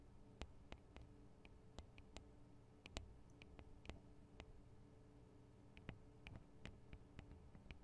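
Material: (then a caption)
Metal, plastic. Long acrylic nails from both hands tap on the small, hollow metal and plastic microphone capsules of a Tascam DR-40 recorder. The result is a quiet, irregular run of sharp, bright clicks that die away almost instantly over a steady low hum.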